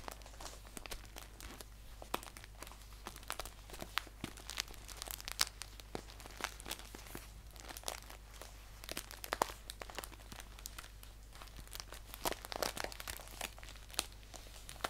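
Fingertips and nails scratch and crinkle a green paper tea pouch lying on a blanket. The result is a quiet, continuous stream of crisp, bright rustles and scratchy ticks that dies instantly, over a faint steady low hum.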